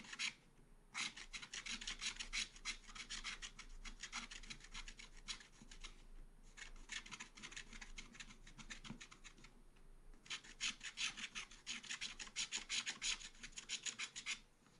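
A wooden stylus scrapes repeated strokes across a black coated scratch art paper page in a small spiral pad. Quick, dry, bright scratches come in three long runs separated by brief pauses, with most of the energy in the high range and little low end.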